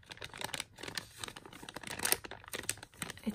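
A glossy yellow, Mickey-printed, hand-sized foil or plastic blind bag with contents inside is held and crinkled with the fingertips while the fingers also scratch its surface. The result is a dense run of quiet, bright, crisp crinkles and scratches with very little low end.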